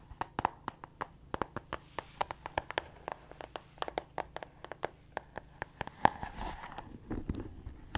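Long acrylic nails rapidly tap the pink cardboard cover of a small pink/red spiral-bound notebook held up close to the microphone. About 35 crisp, dry clicks sound with no ring, sitting in the mid range around 800 Hz with some high snap. A brief scratchy rustle of the cover rises near the six-second mark before the tapping continues.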